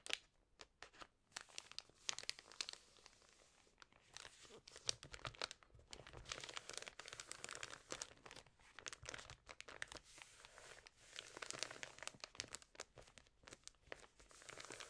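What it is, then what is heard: Thick paper magazine page being rubbed. Both hands with long nails rub and press a creased page of an open, thick-paper lifestyle magazine. The result is quiet, bright crinkling and crackling in dense, uneven bursts, with occasional sharper crunches and almost no low end.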